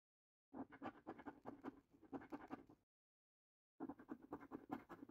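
A coin scratches the top winning symbols off a new paper lottery scratch card made of thin cardboard. It makes quick, dry, rasping strokes with a midrange scrape, in two bursts separated by about a second of silence.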